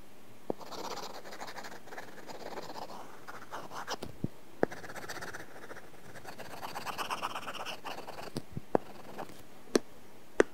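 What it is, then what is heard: Pencil drawing on a tablet screen with a matte film. A plastic pencil tip scratches and draws in repeated short strokes across an iPad glass screen covered with a matte, paper-like film. Soft, dry scratching and rustling runs throughout, with a few sharp, bright taps as the tip lands on the surface.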